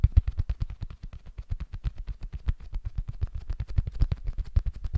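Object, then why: Small cork board. Fingertips and short nails tap and scratch quickly across the surface of a small, solid, flat rectangular cork board held in both hands close to a Zoom mic. About forty rapid, dull, low thumps come in a steady, uneven patter, each dying almost at once, with faint scratchy texture between them.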